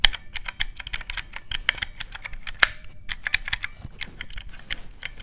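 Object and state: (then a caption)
Plastic mechanical-key calculator. Fingertips rapidly press the round black mechanical keycaps of a teal plastic calculator, producing a quick run of about 26 short, crisp clicks. Each click is sharp and bright, centered near 3.2 kHz, with a dull low thud underneath. The clicks stop almost instantly, with no ring.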